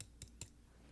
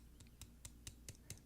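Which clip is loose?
The second.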